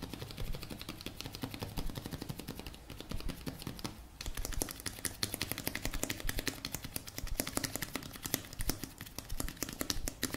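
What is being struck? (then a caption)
Plastic cosmetic tube with cap. A blue plastic cosmetic tube with a cap, held in one hand, is tapped with the fingertips of the other hand. The result is a fast, dense stream of short, bright clicking taps over a low steady hum, with a brief lull around the four-second mark.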